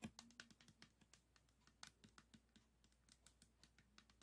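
Fingertips and nails tap quickly on the tiles of a 3x3 plastic speed cube held with its green face toward the camera. The result is a fast, irregular run of short, dry, bright clicks that die away almost instantly, over a faint steady low tone.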